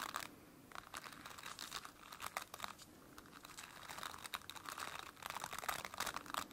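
Long dark-painted nails scratch and rub across the dense, flexible plastic bristles of a large white-blue plastic brush with a solid base. It makes a dry, crinkly scratching with bright, rapid ticks and rustles and almost no low end. The bursts swell and fade in uneven waves, with quieter stretches between them.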